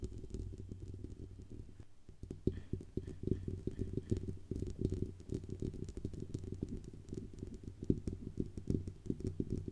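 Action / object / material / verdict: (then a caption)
tap / metal microphone body / metal / none. Long nails tap and scratch the hollow metal body of a silver Blue Yeti USB microphone near its grille band. The result is a dense, irregular patter of short, dry, low thuds with a faint bright scratchy texture running over them.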